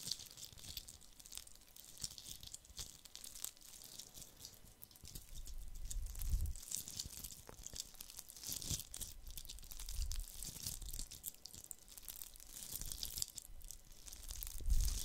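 A hollow, fist-sized red glitter-coated plastic Christmas ball ornament is held in both hands and scratched with fingertips and nails. The result is a continuous, dense, bright scratching and crinkling texture with soft low bumps from handling. It grows somewhat louder after about five seconds and peaks near the end.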